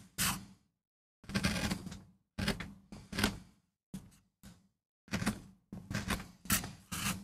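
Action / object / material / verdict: scrape / MDF carving block cut with a steel gouge / MDF / none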